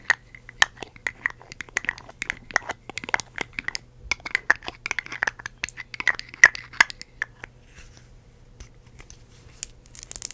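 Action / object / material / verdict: tap / glass perfume bottle with metal cap / glass / none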